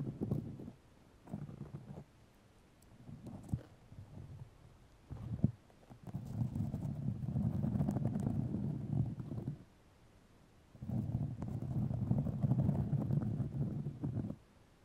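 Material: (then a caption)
Fiberglass. White fiberglass grid mesh tape wrapped around a microphone is scratched and lifted with long nails. Short scratchy bursts in the first few seconds give way to two longer stretches of dense, low rumbling scratching, separated by a quiet pause.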